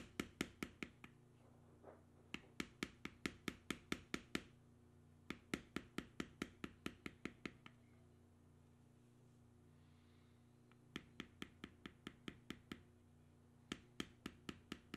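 A metal beveling stamp, held in the fingertips, is struck repeatedly by a mallet to tap down a long, flat, solid tan vegetable-tanned leather armor strip with carved knotwork and punched holes, lying on a stone slab. About 42 sharp, dry, bright taps with almost no ring come in quick runs separated by pauses, over a steady low hum.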